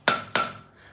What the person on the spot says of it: this Anvil Rings like like crazy